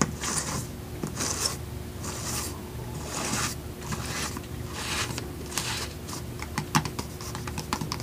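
A small clear plastic jar with a white lid and a purple label, held in both hands and partly filled with dry gel beads, is tapped on its lid and sides with fingertips and nails. Soft, bright rattling bursts repeat every half second or so, then give way to quick, sharp clicking taps toward the end. A faint steady low hum runs underneath throughout.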